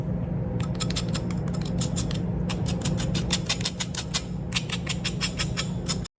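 The crisp skin of chicken thighs, pan-fried in their own fat with no oil, flour or batter, gives a rapid series of sharp, bright crackles over a steady low hum. The sound shows how crispy the skin is.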